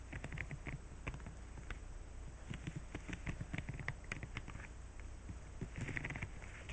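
Fingertips strum, brush and scratch across the rows of bristles on a green silicone scrubber pad. The result is a quiet run of quick, soft rubbery flicks and patters with brief bright scratchy bursts, all over a steady low hum.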